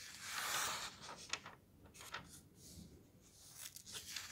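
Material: Paper.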